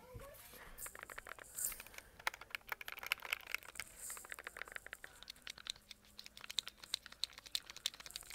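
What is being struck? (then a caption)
Plastic handheld game console shell. Fingertips tap and scratch the back shell of a white plastic Logitech G Cloud handheld game console, a tablet-sized device held in both hands. The result is a quiet, dense run of sharp, bright clicks over a dry, scratchy rustle, with almost no low end and no ring after each tap.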